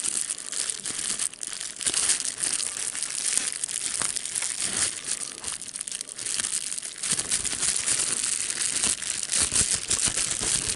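Fingers squeeze, pop and crinkle a sheet of clear plastic bubble wrap with air bubbles. A dense, bright crackle of crinkling plastic runs steadily for about eleven seconds, dotted with sharp little pops that die away almost instantly, with hardly any low end.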